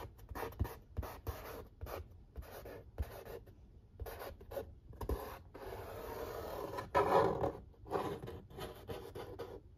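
Fingertips and short nails trace and scratch the printed lettering on the lid of a large, flat corrugated cardboard pizza box. The result is a series of soft, dry scratching and rubbing strokes centered in the midrange, broken by short pauses. A longer, louder continuous rub comes near the seventh second.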